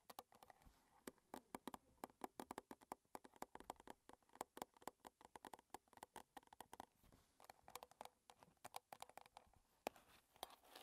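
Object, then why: Small metal tea tin. Long red nails tap quickly and irregularly on the gold lid and sides of a small, closed, square metal Twinings tea tin standing on a table. Each tap gives a short, dry metallic click with a faint tinny tone around 620 Hz and a bright edge. The clicks come in uneven bursts with brief pauses and die away at once.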